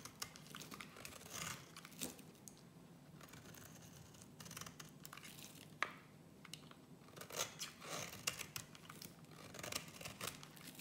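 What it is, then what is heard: Bar of soap being shaved. A gold utility-knife blade scrapes and cuts thin shavings from the edge of a small solid green bar of soap held in one hand. The result is quiet, dry, crackly scraping in short irregular bursts, bright and papery with a faint low hum beneath and a few sharper snaps.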